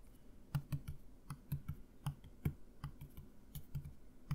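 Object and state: Plastic mouthwash bottle.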